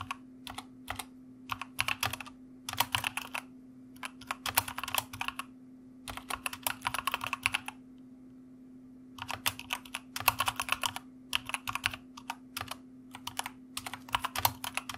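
Fingertips of both hands type steadily on a white full-size mechanical computer keyboard with plastic keycaps and a red backlight, a solid desktop unit with a white cushioned wrist rest. Bright, crisp clacking keystrokes come in quick bursts with short pauses, the longest near the middle. A faint steady low hum sits underneath throughout.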